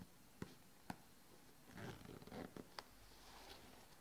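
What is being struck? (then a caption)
Nylon fabric backpack. A closed, medium red and grey nylon backpack lying on a padded board is worked by fingertips and long nails that tap and scratch its front mesh and straps and fiddle with the zipper pull. Five short, sharp taps stand out, two early and three later, around a soft, scratchy rustle in the middle, all quiet and dry with no ring.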